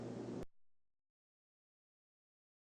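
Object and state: Nothing is struck.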